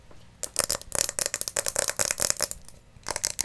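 Long painted nails rapidly tap and scratch a small round hollow glass terrarium bowl, held in both hands, that holds an air plant on white pebbles. The result is a quick, dry, bright clicking and ticking with faint rattling, pausing briefly near the end before a final flurry of taps.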